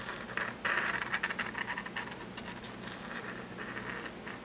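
A porcelain pestle is ground and rubbed around the inside of a small, empty, hollow white glazed porcelain mortar held in the palm of a hand with long red-painted nails. The result is a continuous scratchy, gritty grinding with rapid, irregular rasping strokes, brightest in the midrange around 1.7 kHz. It swells louder in the first second, then settles into a steadier scrape.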